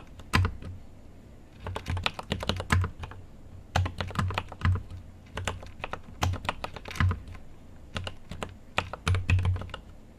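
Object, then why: Mechanical keyboard with plastic keycaps. Fast two-handed fingertip typing on a GMMK Pro mechanical keyboard with an aluminum case and pastel plastic keycaps, sitting full size on a desk. Bursts of sharp, bright key clicks over a deep, low thock come in quick clusters with short pauses between them. Each tap dies away fast.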